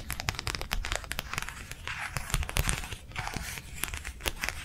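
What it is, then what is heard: Thin plastic sheet tapped and scratched. A thin, flexible matte plastic sheet, slightly bent and held in both hands, is tapped and scratched with long nails. Quick, dry taps alternate with scratchy, crinkling rustles that fill the bright range, over a soft low thrum. Each tap stops almost at once with no ring.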